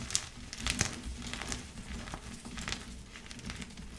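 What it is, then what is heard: Gym chalk block crumbling. Light blue pasted gym chalk blocks of magnesium carbonate, palm-sized, solid and crumbly, lie in loose chalk powder as bare powdered fingertips and palms crush and crumble the chunks, ending with hands squeezing chalk over the pile. Soft, bright crinkling crunches and powdery crackles come in uneven bursts over a low steady rumble, each crumble dying away almost instantly.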